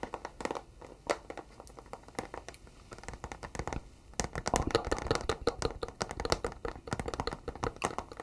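A flat, hollow white cardboard box is held in both hands and tapped and scratched across its surface with fingertips and nails. Quick, irregular dry taps and crisp scratching sounds pick up after about four seconds, becoming denser and louder with brighter clicks. Each tap dies away almost instantly.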